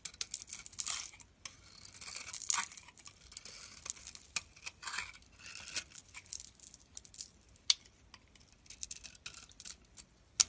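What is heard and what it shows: A utility knife blade carves thick slices off a hand-sized, solid, shimmery pink soap bar held in the palm. The sound is dry, bright scraping and crisp crackling in irregular bursts, with a few sharp clicks standing out. It is almost entirely high in tone with no low body.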